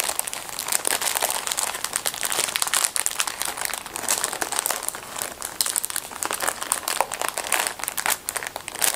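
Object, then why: Plastic film packet of folded disposable gloves. A small, flat, sealed blue-printed plastic film packet filled with folded disposable plastic gloves is handled and squeezed by hands in black fabric skeleton-print gloves. The film gives a dense, continuous crinkling and crackling that is bright and crisp, with almost no low end, throughout the clip.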